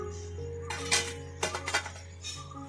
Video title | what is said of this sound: अळूच्या पानांची कुरकुरीत खमंग भजी 😍 | आवाज पण कसा येतो एकदम खणखणीत आवाज येतो